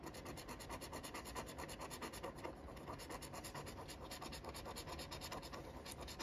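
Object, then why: Cardboard scratch-off ticket with latex coating. A thin wooden stick scratches the latex coating off the letter area of a flat, thin cardboard Michigan Cashword scratch-off ticket held flat by the fingers. Quick, steady back-and-forth strokes make a soft, continuous dry rasping with a bright, papery edge that keeps going throughout.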